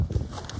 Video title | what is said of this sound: Off The Beaten Path S2E2: Maple Syrup - part 1 | When you hear that dull thud, you know it's seeded.